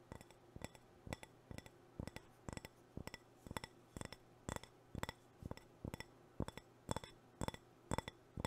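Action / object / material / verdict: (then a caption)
tap / ceramic cup / ceramic / none. Fingernails tap and scratch the outer surface of a white ceramic cup or planter, hollow and apparently empty, held close. Quick, bright clinks with a pitch near 900 Hz die away almost instantly, often in pairs or small clusters, repeating steadily over a low, constant hum.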